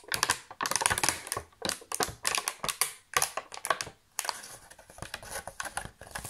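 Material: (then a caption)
Plastic. Fingertips and nails tap and press the cavities of a thin, hollow, empty clear and silver thermoformed plastic chocolate-box insert tray held in both hands. Quick bursts of crinkly, bright plastic clicks come in irregular clusters with short pauses between them, and each one cuts off almost at once.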